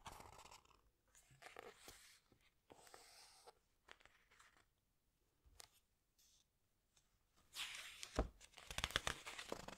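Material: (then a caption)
Glossy paper. Long white-painted nails and fingertips squeeze, rub and turn the glossy printed pages of a large open hardcover book about the underwater world, with its solid stack of pages. Soft, bright papery crinkles and swishes come in irregular bursts separated by near-silent pauses. A louder, denser stretch of crackling rustle closes the clip.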